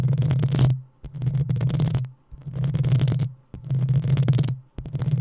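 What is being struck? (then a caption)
Metal mesh microphone grille. Long acrylic nails on both hands scratch the hollow, rounded metal mesh grille of a black USB condenser microphone. The scratching comes in five separate passes, each a dense, rustling scrape over a deep, rumbling hum, with brief near-silent gaps between them; the last pass is cut off at the end.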